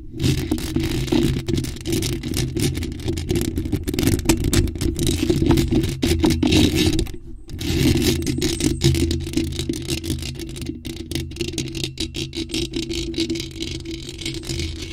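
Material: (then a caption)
Metal mesh. Long nails scrape and tap over a bare, hollow black metal mesh microphone grille, producing a dense, rapid, irregular scratching with crackly taps and a heavy low rumble. The scratching runs continuously apart from a brief pause around 7 seconds, then resumes at a slightly lower level.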